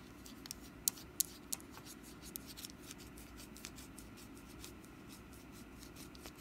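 A small, solid, glossy orange wax pumpkin candle with a green stem and wick is held in the hand while long nails tap and scratch its ribbed wax surface. About a dozen sharp, bright, dry clicks, loudest early on, stand out over a soft, steady scratching hiss and a low background hum. Each tap dies away at once, leaving the quiet, irregular scraping to continue.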